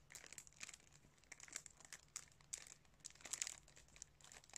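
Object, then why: Plastic DVD case in cellophane wrap. Fingertips crinkle and rub the clear cellophane wrap across the front of a sealed DVD case. Quiet, bright, crisp crackles come in short irregular bursts, with little low-end and almost no ring after each rustle.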